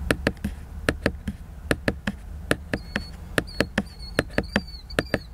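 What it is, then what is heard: Glossy cardboard hardcover book. Fingertips and nails tap the glossy laminated cover of a large, solid, flat cardboard hardcover book. About twenty short, dry, irregular taps sound with a crisp click over a low dull thud. A faint high whine runs underneath in the second half.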